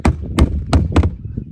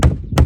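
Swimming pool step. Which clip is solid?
The first.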